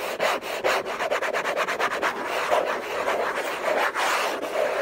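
Fingers and nails scratch and rub hard across the hollow lid of an orange Hermès cardboard box. The result is a fast, irregular stream of dry, raspy strokes with a bright, hissy edge and a hollow midrange tone near 620 Hz. The strokes run separately at first, then blur into a near-continuous rasp.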